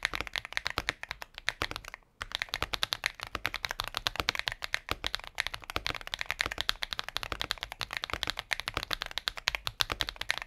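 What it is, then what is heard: Mechanical keyboard with plastic keycaps. Both hands type rapidly with their fingertips on a compact mechanical keyboard with a transparent plastic case and plastic keycaps, resting on a patterned desk mat. A dense, steady stream of sharp, bright key clicks runs throughout, pausing only briefly near the two-second mark.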